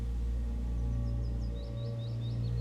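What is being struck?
Nothing is struck.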